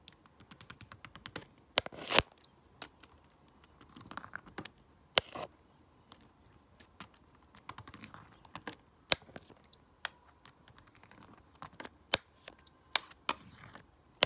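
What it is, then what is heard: Plastic remote control. A stone face roller is rolled by hand across the colored rubber buttons of a flat, hollow plastic LED remote control, clicking them. Sharp, dry, bright clicks come in an uneven stream, mixed with quieter rubbing and rolling swells, and each click stops instantly with no ring.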